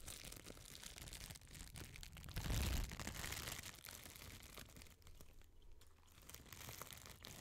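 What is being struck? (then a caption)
Thin clear plastic film. Crumpled clear, thin plastic film is crinkled and crushed with fingers and long nails right beside the mic. A steady stream of crisp crackles and rustles runs throughout, swelling into a louder, fuller crunch with a low thump around the middle. It then eases back to softer crinkling that briefly dips before picking up again.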